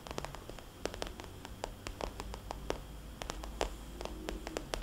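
Long painted nails of both hands tap rapidly on a small, rounded, glossy red polka-dot vinyl cosmetics bag. The result is a soft, hollow run of short, dry clicks with bright edges over a low, steady rumble.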